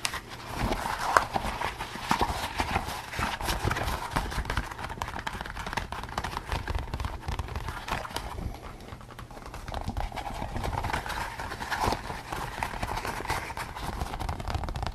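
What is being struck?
Rubber latex mask.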